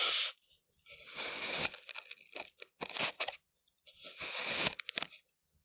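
A large steel kitchen knife with a wooden handle slices straight down through a round, solid, pink kinetic sand disc with a purple center, pressed flat on a white surface, cutting it into layered strips. Each cut gives a bright, crunchy, scraping tear with short gaps between strokes.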